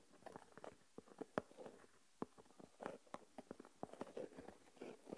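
Fingertips and nails scratch and stir coarse white salt crystals in an open small plastic tub. The sound is a quiet series of short, dry, gritty crunches and clicks, mostly midrange with little bass. Each grain rustle stops almost instantly, separated by near silence.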